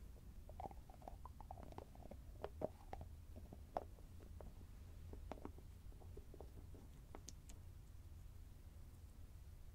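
A small round cosmetic cream jar (CURE cream), closed and held in one hand, has a grey body and a shiny copper-coloured metallic screw lid. Fingertips and short nails tap and scratch across that lid. The result is quiet, dry clicks and soft scratches that die away instantly over a steady low rumble, with two slightly sharper taps standing out.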